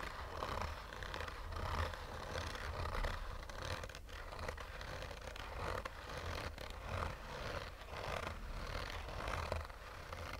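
Short fingernails slowly scratch a black oval sunglasses case, a hollow rigid shell covered in textured fabric. The result is a soft, continuous raspy scraping that swells and fades with each stroke over a steady low rumble.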